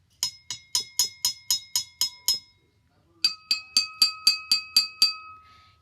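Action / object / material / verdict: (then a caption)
tap / drinking glass with water / glass / full. A half-full glass of water is tapped nine times in a quick, steady rhythm, giving bright, short clinking rings. After a brief pause, a full glass of water is tapped eight times, its ring sitting noticeably lower in pitch. The two glasses sound different.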